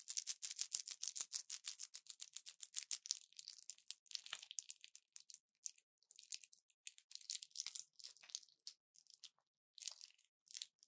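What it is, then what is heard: Plastic and foil blister pack being crinkled. An orange plastic pill blister pack with foil backing is held in both hands and crushed and crinkled with fingers and long nails. Dense, bright crackles come in rapid bursts for the first few seconds, then thin out into sparser crinkles separated by short silences. The sound is almost entirely high-pitched, with no low end.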